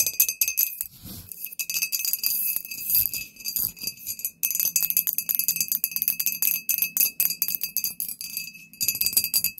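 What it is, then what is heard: Glass bottle (tapped). A glass bottle is tapped with fingernails in quick, irregular bursts, giving bright glassy clinks with a short high ring. The clicks come densely and keep up almost without pause, apart from brief quiet gaps near the middle and just before the end.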